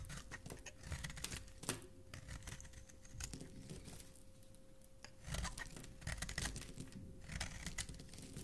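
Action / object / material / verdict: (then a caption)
scrape / bar of soap scraped with a metal blade / soap / none. A metal blade with a blue handle scrapes and carves a solid black and white striped bar of soap held in the hand, curling off shavings. Close, dry scraping and crackling strokes come in bursts with brief quieter pauses, bright crisp edges over a soft low rumble, and a faint steady low hum runs underneath.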